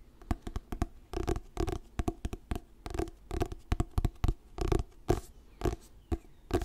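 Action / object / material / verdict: tap / paperback book with glossy paper cover / paper / none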